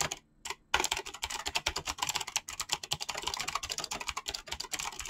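Both hands type very fast with their fingertips on a mechanical keyboard with PBT plastic keycaps. After a brief pause near the start, a dense, rapid run of sharp, bright clicks and clacks follows, each short and quickly damped with little low end.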